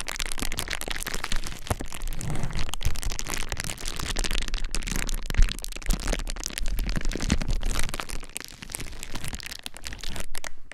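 Both hands press, rub and scratch a large clear plastic bubble wrap sheet resting on a dark surface, using fingertips and nails to crinkle the air bubbles. A dense, continuous crinkling and scratchy crackle runs throughout, with occasional sharper cracks standing out and a brief softer dip near the end.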